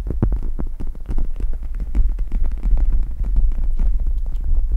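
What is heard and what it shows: Long red nails scratch and tap the plastic of a pink gel-bead eye mask draped over a microphone. The result is a dense, steady stream of quick muffled taps and scratchy rustles riding on a deep, throbbing low rumble near 59 Hz, with almost no high-end brightness.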